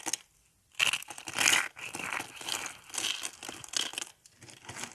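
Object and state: Dry soap flakes crushed.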